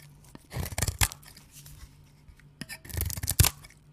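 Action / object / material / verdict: scrape / bar of soap / soap / none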